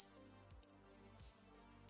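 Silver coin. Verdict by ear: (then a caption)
Real. A silver piece is pinged and gives a long, bell-like, high-pitched ring that sustains through the clip with little fading. The clear, lasting ring marks it as real silver.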